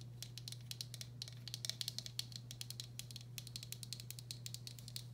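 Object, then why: Glazed ceramic bowl. Long black acrylic nails rapidly tap and scratch the outer side wall of a medium, hollow, empty turquoise speckled glazed ceramic bowl. The result is a quick, uneven stream of sharp, bright clicks that die away almost instantly, over a steady low hum.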